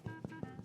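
A freshly baked sourdough loaf, just out of the oven and set back on the counter, is tapped four times on its crust. Each tap gives a short, dull, hollow thud with low-pitched body and little high-end. The hollow sound and light weight show the loaf is fully baked.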